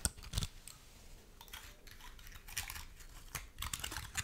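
Long nails scratch and flick the open scales of a large, dry, woody pine cone held close to the microphone. Quiet, dry, crisp clicks and scratchy rustles come in clusters, with bright snaps and a few low thumps. Each sound dies away almost instantly.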